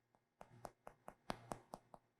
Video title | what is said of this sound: Baking Arts: Lesson 5 Soft Rolls | What we're looking for is this hollow sound. So the hollow sound is a good way of telling you're done.